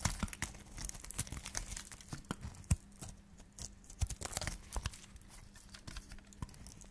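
A solid white dry soap bar, held in the fingers, is scraped with a flat metal blade into thin slices. Each pass gives a short, dry, crumbly scrape with crisp crackling and a soft low thud, in quick irregular strokes. The strokes stop dead with no ring, leaving a steady run of brittle shaving sounds.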